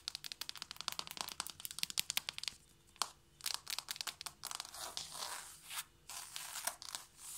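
Long painted nails and fingertips of both hands tap fast on a flat, solid wooden or laminate floor. A rapid run of sharp, bright clicks with almost no low end gives way to rougher, scratchy bursts of tapping. The clicks are dry, with no ring after each hit.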